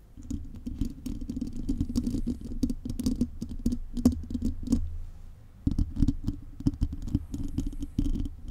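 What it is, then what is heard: Metal mesh microphone grille. Long painted nails scratch and tap the hollow, bare silver metal mesh grille of a condenser microphone. The result is a dense, continuous run of close, low, rumbling scratches with quick clicking taps, dipping into a brief lull near the middle before resuming.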